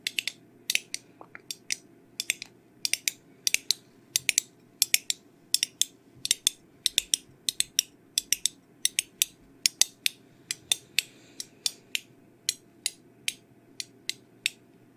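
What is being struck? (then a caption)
Small round metal tin. Long nails tap and scratch on the lid and sides of a small round blue metal tin of Vaseline held in the hands. Some fifty sharp, bright, high clicks come in quick irregular bursts over a faint steady hiss, and each dies away almost instantly.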